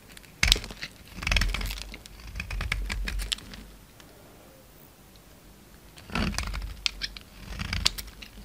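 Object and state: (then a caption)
Bar of soap being shaved. A utility knife blade shaves crumbly flakes off a solid white bar of soap with black coating remnants, held in the hand. Dry, crackly scraping strokes come in bursts with bright, crisp crunches, pausing quietly in the middle before resuming. Flakes break away from the bar.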